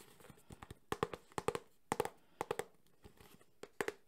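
Fingertips and nails tap fast on the front and edges of a small, closed, hollow cardboard Samsung phone box. About fifteen short, dry taps come in quick clusters, each with a brief hollow knock centered near 450 Hz and a bright, papery click on top. Each tap dies away almost instantly.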